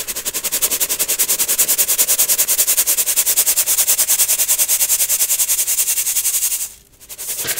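A small gold metal mesh sieve, partly full of baking soda clumps, is repeatedly shaken or tapped over a clear plastic bowl to sift the powder. It makes a fast, steady run of bright, hissy rasps, about 57 in all, with a brief pause near the end before the sifting picks up again.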